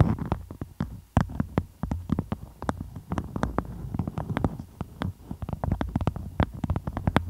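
A floral beeswax-coated cotton food wrap covers the microphone while long pointed nails scratch and trace over its surface. The result is a rapid, uneven run of sharp crinkly clicks and scrapes over a deep, muffled rumble, with brief bright tips on the strongest strokes.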